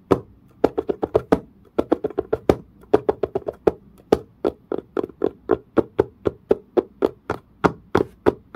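Fingertips and nails tap rapidly near the edge of a dark, pebble-grain, leather-like, curved case surface. About 36 short, dry taps land in quick clusters separated by brief pauses. Each has a hollow low-mid knock, a bright click on top, and dies away almost instantly.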